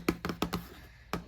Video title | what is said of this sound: [ASMR] Guest bathroom tour (tapping, tracing, camera touching) | one of the best cardboard tapping and scratching sounds